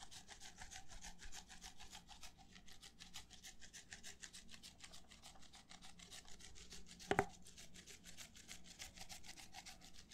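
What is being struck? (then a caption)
Plastic party cup. Fingertips and nails scratch and rub the outer wall of an empty, hollow red plastic party cup held in both hands close to the microphone. It makes a steady run of quick, bright, rasping strokes with a low hollow undertone. A single sharp, louder click stands out near the seven-second mark.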